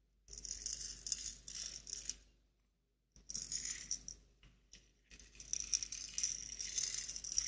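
A small glass clip-top jar with a metal wire clasp lid and a pink label, partly filled with dried flowers and small loose bits, is held in both hands and shaken. The contents give a bright, dry rattle in three bursts separated by short silences, with sharp clicks of loose bits against the glass.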